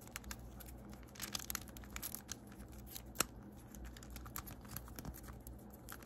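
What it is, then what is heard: Plastic infinity cube fidget toy. A small blue plastic infinity cube fidget toy is flipped and folded by hand, its segments clicking together, mixed with light fingernail taps. The short, dry clicks and taps come at an irregular pace over a quiet, steady low hum.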